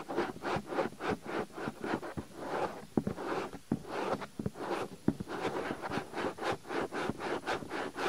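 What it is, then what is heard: Silicone microphone ear being rubbed. Fingertips quickly press, rub and scratch a soft, hand-sized white silicone ear-shaped cover mounted on a binaural microphone. The result is a steady run of rapid, rhythmic swishing and scraping strokes, dotted with a few short, sharp knocks.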